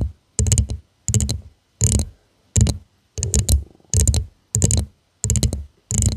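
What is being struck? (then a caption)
Textured glass tumbler. Long nails tap and scratch around the rim and sides of a hollow purple glass tumbler with a studded, faceted surface, held upside down. Eight short bursts of rapid clicking taps come with brief silent gaps between them, each carrying a low thud and a bright glassy tick.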